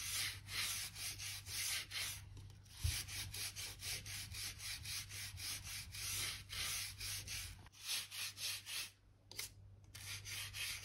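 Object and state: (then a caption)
Wooden floorboards being brushed. A blue-handled crevice brush rubs along the gaps between wooden floor planks, brushing out dirt and dust. About fifteen quick, bright, scratchy back-and-forth strokes are heard, with a steady low hum underneath.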